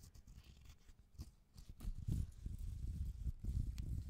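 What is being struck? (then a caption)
Raw cork bark slab. A single fingernail scratches and taps the rough outer bark of a raw cork bark piece held upright beside the mic. The result is quiet, irregular, low, muffled scratching and soft dull taps that grow slightly louder after the first couple of seconds, with brief bright scrapes.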